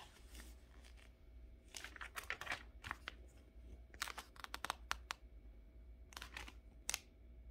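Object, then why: Glossy paper magazine. Fingertips rub and turn the pages of a thin, glossy DuPont Registry car magazine lying open on a fabric couch, with no pen in hand. Soft crinkling and dry rustles build into a run of sharp, bright paper flips and crackles, then quieter rubbing returns between a final few quick flips. A steady low hum sits beneath the paper sounds throughout.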